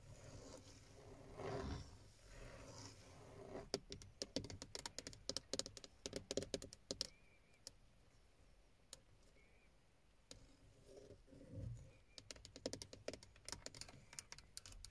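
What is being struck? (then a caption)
Plastic steering wheel airbag cover. Long painted fingernails and fingertips tap a hollow, textured black plastic airbag cover with a chrome emblem on a car steering wheel. The result is bursts of quick, sharp clicks and light patter that die away almost instantly, with brief muffled rustles in between.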